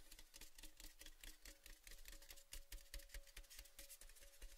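Fingertips rub and tap along the painted side of a tall, cylindrical, orange-painted metal Baileys gift tin tube, hollow and empty and held in both hands. The result is a quick, uneven stream of soft, bright tapping clicks, about two per second, with scratchy rubbing between them. Each tap carries a dull low thump and a faint metallic ring near 560 Hz.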